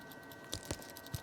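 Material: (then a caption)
Plastic. A KSGER T12 soldering pencil handle is shaken, making a few faint, short clicking rattles from the shake (tilt) switch inside the handle. The shake does not wake the soldering station from sleep.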